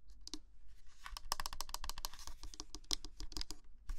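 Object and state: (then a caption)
Plastic mini humidifier shell. Long nails tap quickly on the shell of a small white, hollow plastic mini humidifier lamp with a round window, held in the hand and turned while it is switched off. A rapid run of sharp, dry clicky taps with a bright high edge dies away almost instantly, over a steady low rumble.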